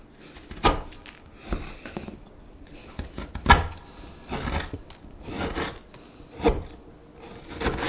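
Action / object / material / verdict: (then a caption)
scrape / wooden spoon, carved with a gouge / wood / none. A gouge carves inside the bowl of a solid light wood spoon, curling off chips. Short scraping cuts come in uneven bursts, with sharp bright scratches over a low, dull body. A few sharper cuts stand out against the softer, breathier strokes.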